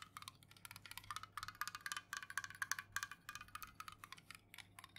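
Long nails tap rapidly on the metal top rim and lid of an unopened, full Jumex Guava Nectar aluminum juice can held tilted in the hands. The quiet, uneven flurry of sharp metallic clicks has a bright ping near 1.7 kHz and a high crackle, and each tap dies away almost instantly.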